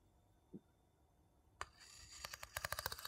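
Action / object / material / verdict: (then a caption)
tap / small light-wood bowl tapped with a wooden spoon / wood / none. A small, hollow, empty light-wood bowl held in the palm is tapped and scratched around its inside rim and surface with a wooden spoon. After a quiet start and a faint low knock, a sharp, bright tap sounds, followed by a scratchy scrape and a quickening run of about eight crisp, dry wooden taps that die away almost instantly.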